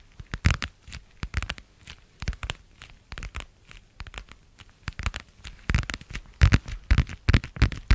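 A thin, flexible, pale blue translucent vinyl plastic cover is tapped and crinkled with fingertips and nails. Quick, irregular bursts of dry crinkling and tapping come in clusters, each dying away almost instantly. Soft, dull thumps sit under a brighter crackly rustle.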